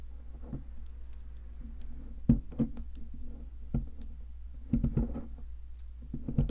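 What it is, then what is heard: Plaster excavation block being chipped. A metal pick, held in a hand with long red nails, scrapes and chips at a solid white, palm-sized plaster fossil excavation block. Soft, gritty scraping is broken by sharp, dry clicks and taps as pieces of plaster break away, all over a steady low hum.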